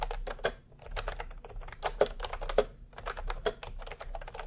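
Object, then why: Plastic round-key keyboard. Both hands type steadily with their fingertips on a plastic retro round-key keyboard resting on white cloth. The result is a rapid stream of dry, clicky keystrokes with short decay, and a few louder taps stand out.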